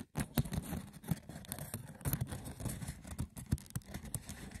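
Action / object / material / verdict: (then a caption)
scrape / woven wicker basket / wicker / none. The textured woven surface of a wicker basket is scratched roughly and tapped, giving dry, crackling scrapes broken by sharp, quick clicks. The sound is low and muffled with little brightness, and each tap dies away almost at once.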